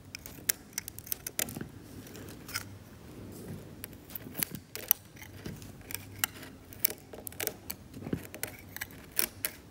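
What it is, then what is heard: Cracked varnished oil painting being scraped. A metal scalpel held by the fingertips scrapes at the paint of a cracked, varnished oil painting on canvas near an exposed grey patch. It makes a quiet run of short, dry, bright scratches and clicks over a soft low hiss, with no ring after each stroke.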